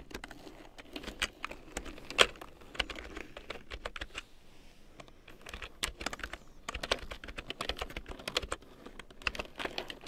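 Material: Plastic.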